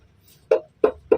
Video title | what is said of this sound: memahami cara kerja kopling mobil manual dan gejala kerusakannya. | kalau udah kreng kreng kreng ada bunyi kayak kendor nah ini sudah fix ada kerusakan pada bagian mataharinya